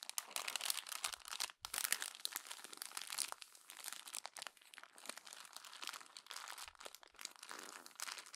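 Hands crumple the successive pages of a glossy paper magazine into a growing bunch at the spine. The result is dense, bright crinkling and crunching with sharp, dry crackles and a brief pause near the start, with no low rumble.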